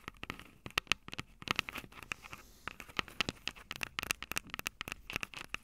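Long purple nails tap and scratch the two silver metal mic capsules on the plastic body of a Tascam DR-05 handheld recorder. The result is a quick, irregular stream of sharp, dry clicks and scratchy ticks, each dying away instantly. The sound is bright, with a recurring tinny ping around 2.7 kHz and almost no low end.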